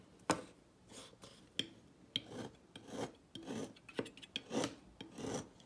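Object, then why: Bar of soap cut with a thin metal blade. A thin metal blade cuts a smaller remaining piece of a solid turquoise dry soap bar on a table. Sharp, dry clicks alternate with soft, bright rasping scrapes as the blade slices through the hard soap again and again.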